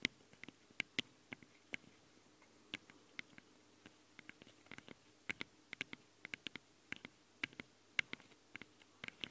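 Long nails scratch and tap the metal grilles of the two microphone capsules on a handheld recorder. About 29 sharp, bright clicks and short scrapes land at irregular intervals, each dying away almost instantly, with a faint metallic tinge around 2 kHz. Between them there is only a quiet, steady hiss.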